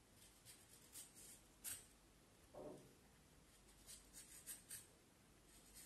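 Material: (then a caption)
Wood. A small knife blade shaves and scrapes along a solid, peeled vine wood branch about forearm length, held in one hand, in short carving strokes, with curls of wood shavings falling onto the table. Quiet, bright, dry scraping whispers come in brief bursts, with one longer, fuller rasping stroke in the middle, over a soft hiss.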